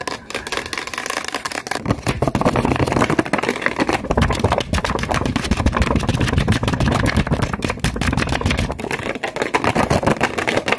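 A hand-sized, hollow white plastic lotion or body-spray bottle with a purple cap is held in both hands and tapped and scratched fast on its sides with long white-tipped acrylic nails. Rapid, dense clicks and scratchy rustles run almost continuously, with a dull hollow body and some bright crackle.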